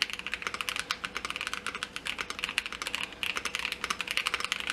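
Fingertips type continuously on a Keychron Q2 aluminum mechanical keyboard with a dark aluminum case, white and mint plastic keycaps and JWK linear switches, resting on a desk mat. Rapid, bright key-press clacks follow one after another with very short decay and little low end, with one brief pause near the three-second mark.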